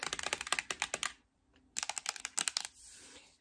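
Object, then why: Thin metal tin makeup palette tapped with fingernails. A thin, flat rectangular embossed metal tin eyeshadow palette ("Better Than Chocolate") holding makeup is held up and tapped with long red nails. Two quick bursts of bright, crisp clicky taps, separated by a brief silent pause, fade into a faint hiss.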